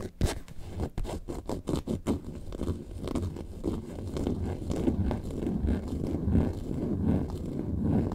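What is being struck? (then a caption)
Faux leather bag. Long nails scratch the top surface near the zipper of a hollow yellow faux leather lemonade-carton bag lying flat. A quick run of sharp, separate scratch strokes opens the clip, then gives way to denser, continuous rough scratching with a low, hollow rumble underneath.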